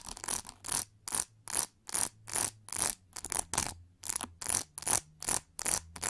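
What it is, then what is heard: Plastic hair brush back scratched with nails. Long nails scratch across the textured, hollow plastic shell on the back of an oval pink plastic hair brush. Each stroke makes a short, bright, rasping burst with a high hiss and very little low end. The strokes repeat in a loose rhythm, about two or three per second, with near-silent gaps between them.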